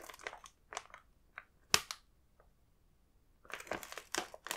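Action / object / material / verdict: tap / plastic snack bag with inner packs / plastic film / none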